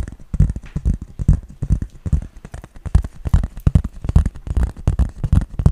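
A hand-sized, flat, hollow-backed green plastic toy brick baseplate with raised studs is tapped with fingertips and nails. The result is a rapid, uneven stream of soft, dull taps, mostly low thuds around 74 Hz with very short decay and faint bright clicks from the nails.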